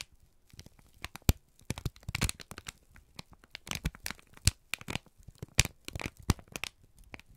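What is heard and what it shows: A wrinkled brown kraft paper strip is squeezed and crinkled by both hands. Irregular bursts of dry, crackling crinkles come and go, some sharp and bright, each cutting off almost instantly, with faint low rustling between them.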